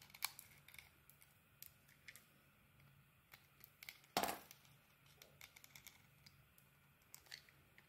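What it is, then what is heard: Bar of soap being cut. A solid rectangular bar of soap with a pink beaded coating and a blue swirled interior is held in the hand and cut and scraped with a metal blade. Quiet, bright scratchy ticks and crisp scrapes sound in a scattered series over a low hiss, with one louder, crunchy cut standing out midway.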